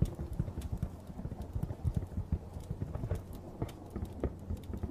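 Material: Cardboard.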